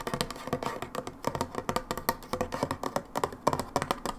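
Long nails tap rapidly on the side of a brown plastic hydrogen peroxide bottle lying sideways. The result is a quick string of short, dry, hollow clicks with a midrange tone around 1 kHz and almost no ring.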